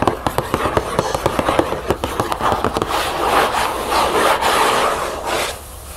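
Long acrylic nails on both hands tap and scratch the back panel of a hollow cardboard cereal box standing on a table. About the first three seconds bring a quick run of crisp, separate taps, which then give way to a steady, papery scratching rub that fades out near the end.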